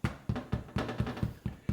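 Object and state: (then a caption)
Baked-through soda bread (hollow). Eight taps on the underside of a baked brown soda bread loaf produce short, dull, low thuds with a hollow tone and almost no ring. The hollow sound shows the bread is done.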